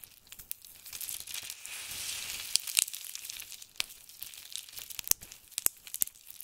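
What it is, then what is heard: Dried soap shavings crumbled by hand. Fingers of both hands pinch, rub and crumble small handfuls from a heap of crisp, dried blue and grey soap flakes. A dry, bright crinkling rustle swells in the first seconds, then gives way to scattered sharp crackles and snaps with almost no low end.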